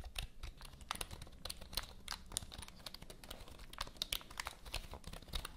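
Long nails type rapidly on a full-size black plastic HP computer keyboard held diagonally, making a dense run of crisp, bright clicks and taps with very short decay. A steady low hum sits underneath the clatter.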